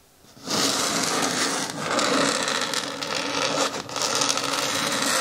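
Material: Plastic.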